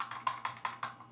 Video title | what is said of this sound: Review do drone DJI FLIP com INCRÍVEIS detalhes. | el Gambo esta suelto por dentro, entonces estaría golpeando